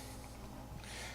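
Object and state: Nothing is struck.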